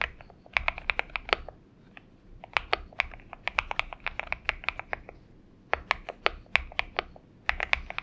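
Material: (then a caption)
Aluminum, plastic. Fingertips of both hands type on a purple-backlit Xinmeng M71 70% mechanical keyboard with an aluminum case and PBT keycaps, resting on a desk mat. Crisp, bright, short key clacks come in quick bursts, broken by brief pauses near two and five seconds.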